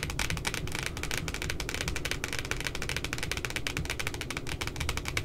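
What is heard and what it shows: Fingertips and long nails rapidly tap and scratch the printed puppy image on the glossy cardboard cover of a spiral notebook. The result is a dense, steady stream of sharp, bright clicks and scratchy rustling over a low, rumbling undertone.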